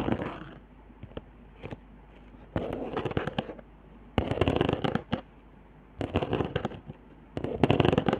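Long nails scratch and tap along the raised hot-glue lines and dots on a flat cardboard trigger board. The sound comes in dry, crackly bursts of rapid scraping and clicking with quiet pauses between them, and a few isolated taps. The crackle is bright with no ringing after it.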